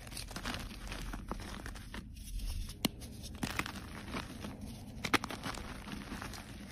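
A solid white gym chalk block is pressed and broken apart with fingertips and short nails, giving a steady dry, powdery crumbling and crackling with a low rumble underneath. A few sharper, brighter snaps stand out as pieces break off, and the block ends up crumbling into powdery fragments.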